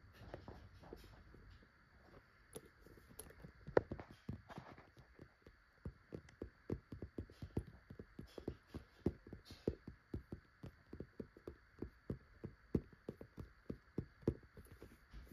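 A child's fingertips tap and scratch across the plastic surface of a hollow pink transparent PVC cosmetic bag, a see-through vinyl pouch that is held and then laid flat. A long run of quick, soft, dull taps with short thuddy lows is heard, mixed with light scratching over a faint steady hum. The taps come sparse and quiet at first, then grow more regular and slightly louder.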